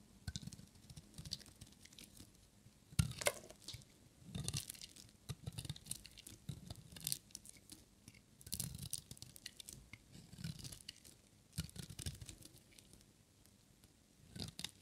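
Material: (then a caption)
Soap. A metal utility knife blade cuts and shaves a small, solid leftover piece of dry green and white striped bar soap. Quiet bursts of dry, crunchy scraping and crisp crackles repeat, with low soft thumps under bright, brittle shaving noise.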